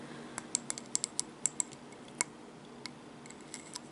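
A seashell, one used in mermaid videos, is tapped and handled, giving fourteen sharp, bright clicks that stop almost instantly. The taps come in an uneven cluster early on, then thin out over a quiet, steady hiss with almost no low end.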